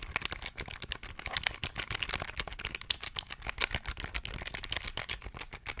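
A small beige plastic pocket calculator is held in the hands beside the microphone while its plastic buttons are pressed rapidly with the fingertips. A fast, dense stream of sharp, bright clicks and taps follows, each dying away almost instantly, with a light rattle underneath.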